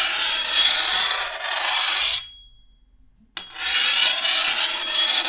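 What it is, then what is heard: Steel machete blade being filed. A hand-held steel file scrapes along the edge of a long, thin, solid steel machete blade. Two long passes of bright, high, rasping grind fade out, with a short silent pause between them and almost no low end.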